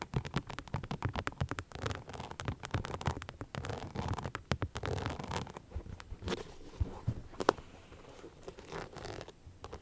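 An empty beige rhinestone-covered sneaker with a translucent rubber sole is held in hand and scratched with long nails. The result is a dense run of quick, dry scratching clicks with a soft low body and little brightness. The sound thins out and grows quieter over the last few seconds, broken by a sharper click near the middle of that stretch.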